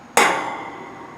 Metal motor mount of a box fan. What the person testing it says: Hear how solid that is?